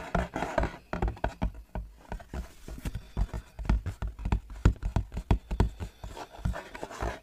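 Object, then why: Cardboard ice cream box. An empty-looking, hollow printed cardboard box of Gelato sandwich ice cream (6-pack) is held up and tapped with fingertips and nails on its front face. The result is a quick, uneven run of dull, hollow taps with deep low thuds, each dying away almost at once, with faint scratchy clicks from the nails between them.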